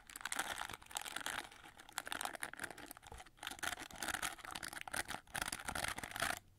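Long nails scratch the back of a gold-plated, gold-winged plastic hair brush, then rake across its red plastic bristles. The result is a dense run of dry, crackly scratching and ticking with bright hiss, rising and falling in short bursts.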